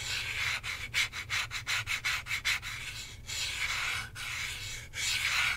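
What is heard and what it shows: Fingertips and short nails rub and scratch across the face of a hand-sized hollow plastic Nintendo Switch controller, with red and blue Joy-Cons attached to a black grip, held in the other hand. The result is a quiet, bright, dry scraping that comes in a quick run of short strokes, then longer smooth rubbing passes, over a faint low hum.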